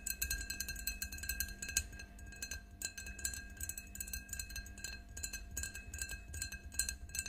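Long nails tap and clink rapidly on the sides of an empty, clear faceted drinking glass standing on a table. The clicks are bright and dry, with short glassy rings that die away almost at once. They come in steady, uneven bursts over a soft low hum.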